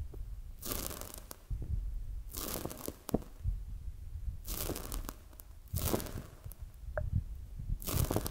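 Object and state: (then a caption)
Foam squishy toy being squeezed. A palm-sized, soft, solid polyurethane foam squishy donut toy is held in both hands, squeezed and touched with fingertips and long acrylic nails. Recurring bursts of soft, bright crinkling and tearing-like squish texture rise over a low, muffled rumble, with light taps and scratches between the squeezes.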